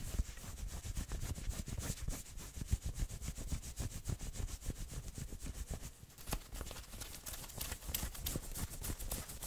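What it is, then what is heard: Fleece hoodie sleeve scratched. Fingernails scratch and rub quickly along the maroon sleeves of a worn fleece hoodie. The result is a dense run of soft, rapid scuffing strokes with a dull, low rumble underneath and faint bright fabric hiss on top.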